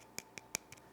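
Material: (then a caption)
Baked pastry. A freshly baked puff-pastry sugar cookie (Arnhemse Meisjes, a thin Dutch butter cookie) is tapped to hear how crispy it is and how its sugary coating sounds. Four short, dry, bright ticks are heard, with almost no low end and no ring. The cookie has a crisp, crackly outside.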